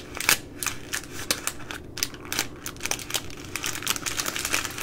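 Fingers with long nails pinch and crinkle the thin plastic film at the end of a baby wipes pack. A dense run of sharp, bright crackles and ticks fills the clip, with little low end and each snap dying away almost at once.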